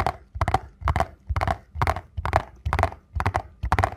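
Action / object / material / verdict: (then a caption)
tap / small paperboard box / paperboard / none. A small printed paperboard box for a ZOLA ankle support is held in both hands while fingertips and nails tap and scratch its front and sides. Dull, low thumps mixed with papery scratching come in quick clustered bursts about twice a second. Each burst dies away almost at once.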